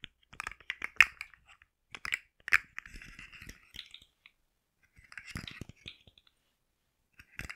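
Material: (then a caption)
Plastic. A rainbow segmented plastic articulated slug fidget toy, curled and held in a hand, has its segments tapped and scratched with long nails, making its jointed parts click. Quiet, bright, dry clicks and scratchy rustles come in irregular bursts with short pauses between them, each sound stopping at once with no ring.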